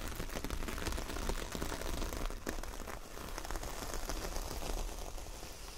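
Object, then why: Coir fibre door mat. Long nails scratch across the bristly surface of a large, solid, flat coconut coir fibre door mat with a star print. The result is a dense, continuous rustling scratch, heavy in low rumble with some bright crackle. It stays fairly steady throughout, with a brief dip partway through.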